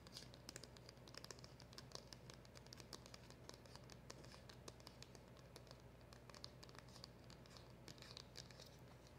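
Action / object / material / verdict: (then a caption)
scrape / small cardboard packaging box / cardboard / none. Long acrylic nails scratch and tap across the surface and edges of the back of a small, hollow, black printed cardboard packaging box. Quiet, dense clicks and scratchy crinkles come in quick, irregular succession over a steady low hum, each tap short and dry with bright, crisp edges.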